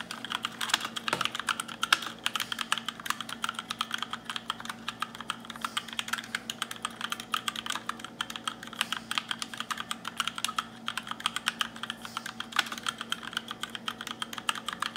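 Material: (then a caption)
Plastic. Fingertips with short nails type fast on a compact black RGB mechanical keyboard with plastic keycaps. A dense, continuous run of crisp, bright clacks follows, each one short and dry over a faint steady low hum.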